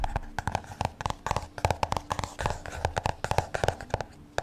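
Fingertips and nails tap and scratch the card cover of a black spiral-bound "ADORE" notebook held upright. A quick, uneven run of about two dozen short, dull taps, each with a light click, dies away almost instantly, with soft scratching between them.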